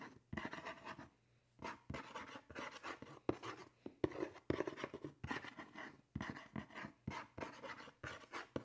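A fingernail taps and scratches the side of a hollow black cardboard shoe box printed "SABRINA 2." Quick dry ticks mix with papery scratching in short bursts, with a brief quiet gap early on. Each contact stops almost at once, with no lingering ring.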